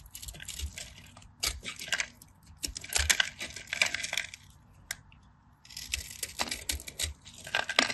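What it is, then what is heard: Bar of soap being cut and crumbled. A solid cream bar of soap, held in the palm, is diced and scraped with a craft knife so small cubes crumble off. Crisp, bright crunching and scraping come in quick bursts, with short quiet pauses between passes of the blade.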